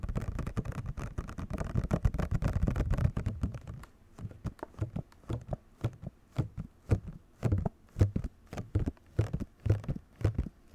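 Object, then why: Printed cardboard box with clear plastic window. A Rock Candy controller box, made of printed cardboard with a clear plastic window and hollow with the controller inside, is tapped rapidly across the front window and cardboard with fingertips and nails. For about four seconds the taps run together in a dense, low, hollow patter, then they thin out into separate dull thuds. Each tap dies away almost at once.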